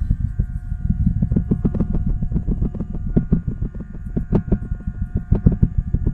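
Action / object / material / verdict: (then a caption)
scrape / cloth-covered microphone head / fabric / none. Fingertips and nails scratch and pick at the patterned cloth cover wrapped around a microphone head, which is held in one hand. The result is a dense, continuous stream of muffled, low, rumbling scratches, with quick crackly taps standing out throughout.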